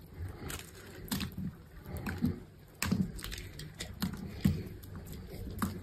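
A metal utility knife blade scores and shaves a hand-held solid green bar of dry soap into strips. A series of soft, dry scraping cuts follows, each with a muffled low body and a brief crisp, bright edge. Curls of soap peel away with each stroke.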